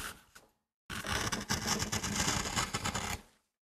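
A metal gouge carves and scrapes the surface of a small, flat, solid MDF carving block while fingertips steady the board. A short scrape fades out, then after a brief silence a dense, bright, gritty scraping runs for over two seconds with uneven bursts before trailing off.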